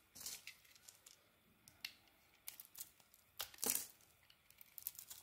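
The same oval yellow soap bar is shaved with a metal blade, giving quiet, crisp, bright scraping and crinkling strokes in short separate bursts. The largest burst comes near the end, and there is almost no low rumble beneath the shaving.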